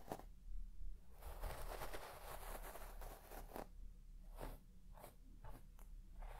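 A white plastic comb scratches through the pile of a large red shaggy textile carpet, making dry, crunchy rasping strokes. A long, dense stretch of scratching gives way to several shorter, separate swipes over a steady low hum.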